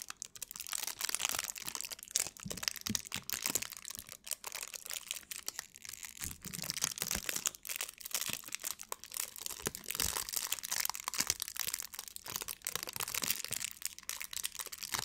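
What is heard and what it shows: Crumpled clear plastic wrap is held in both hands in front of a microphone while long nails and fingertips crinkle and scratch it. The result is a steady stream of bright, crackly crinkling and scratching, with dense rapid snaps and almost no low end.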